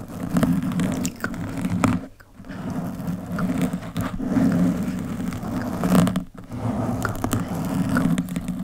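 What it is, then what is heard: Foam microphone windscreen. Long chrome-polished nails on both hands scratch over the soft, porous black foam windscreen of a microphone. The result is a dense, continuous scratching rustle with a heavy low, muffled rumble, broken by brief quiet gaps near 2 and 6.3 seconds.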